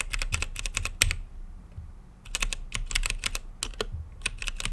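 Fingertips type on a mechanical keyboard with plastic keycaps and a translucent lit case, giving 21 sharp, bright clicks with a low thock beneath them. The keystrokes come in quick bursts, with a pause of about a second near the start, and each click dies away almost at once.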